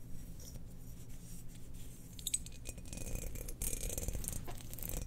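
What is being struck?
Glazed ceramic jar.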